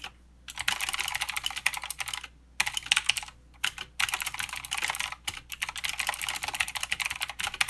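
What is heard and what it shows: Fingertip typing with both hands on a mechanical keyboard with plastic keycaps and clicky blue switches. Rapid, bright clicky keystrokes come in dense bursts separated by short pauses, each click dry and ending almost instantly.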